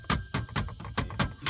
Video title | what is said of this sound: Range Rover - Go Big or Go Home [The ultimate Tech Upgrade -Installation] | you can hear it tap on the back end